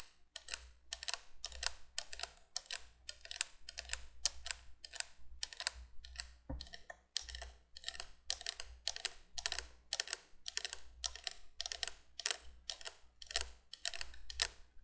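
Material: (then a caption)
Plastic. Long nails on both hands rapidly tap and scratch the hollow plastic tubes of a vintage 1980s window candolier with three yellow candle tubes and orange bulbs. The result is a steady stream of dry, bright clicks and scratches that stop instantly with no ring, over a faint low hum.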